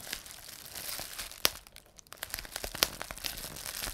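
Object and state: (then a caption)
Plastic bubble wrap being popped. A rolled strip of clear plastic bubble wrap is held in both hands while the fingers twist and squeeze it, popping the air-filled bubbles. Steady bright crinkling runs throughout, broken by sharp, dry pops, the two loudest snapping out near the middle of the clip.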